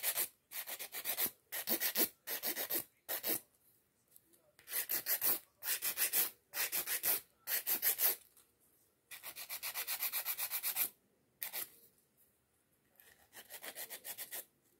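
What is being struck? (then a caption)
Acrylic fingernail and emery board. A long, solid acrylic nail is filed with a white emery nail board with pink edges held in the other hand. The board gives quiet, bright, scratchy rubbing strokes in quick runs, separated by short pauses.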